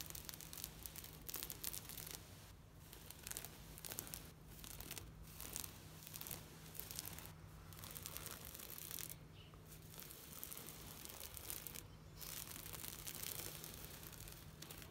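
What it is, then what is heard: Plastic shade mesh netting. Long nails scratch and tap across a large, thin sheet of green knitted plastic shade mesh netting. The result is a dense, continuous run of bright, crackly rasps and quick ticks with small bursts, over a steady low hum.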